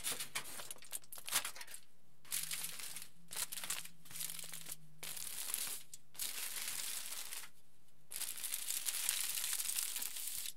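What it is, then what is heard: Aluminium foil being crinkled. A large crumpled aluminium foil sheet lies flat while fingertips pinch, fold and crinkle its surface. Bright, dense crackling comes in bursts separated by brief pauses, over a faint steady low hum.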